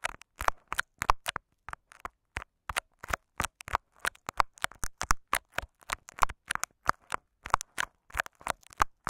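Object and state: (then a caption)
Tape-wrapped microphone scratched and tapped. Short fingernails of both hands scratch and tap crinkly clear scotch tape wrapped over a microphone capsule with a metal grille underneath. Many quick, close crackling taps and scratches follow each other in an uneven stream, each a dry broadband burst that dies almost instantly.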